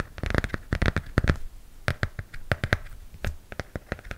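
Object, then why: Glossy cardboard hardcover book. A hardcover comic book held beside the face has its glossy cardboard cover scratched and tapped with nails. Many quick, dry taps and scratchy clicks come in irregular bursts, each sharp and brief with almost no ring, over a quiet background.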